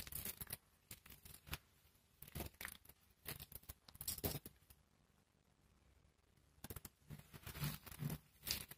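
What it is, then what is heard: Dry soap flakes being crushed. A pile of pale pink, dry, brittle soap shavings and flakes is rubbed and crushed between fingertips and palms. It makes bursts of dry, crisp crunching and crackling, bright and hissy with a soft low thump beneath. The bursts are separated by quiet pauses, including a longer lull in the middle.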